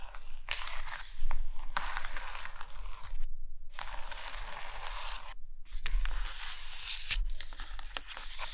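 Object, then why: Hardcover paper books. Long green nails scratch and tap across the top covers and page edges of a stack of hardcover Russian paper books resting on a carpet. The result is a steady, bright, dry scratching hiss with scattered sharp taps, broken by two brief pauses.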